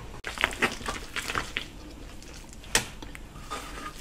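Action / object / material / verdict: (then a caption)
scrape / potato and flour dough in an enamel bowl / dough / none. Bare hands and fingers knead, squeeze and rub a large soft mass of crumbly yellow potato and flour dough in a white enamel bowl for potato bread. Soft, crumbly crushing and crinkling sounds come in short bright bursts over a low background hiss, with a sharper snap near the end.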